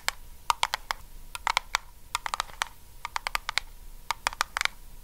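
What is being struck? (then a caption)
Small lidded metal tin. A small, round, lidded blue Nivea metal cream tin, held near the face, is tapped and scratched with long acrylic nails. About twenty sharp, bright clicks come in quick irregular bursts, each dying away almost instantly over a faint metallic ring near 950 Hz, with soft scratchy texture between the taps.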